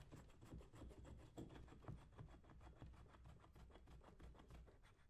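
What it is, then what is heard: Leather work boot. A hand-held metal scraper or knife blade is scraped along the lather-covered upper of a brown leather lace-up work boot worn on a foot, while the other hand steadies the boot. The result is a quiet, continuous run of soft rasping strokes, about three per second, with a low, muffled body and short, dry scrapes.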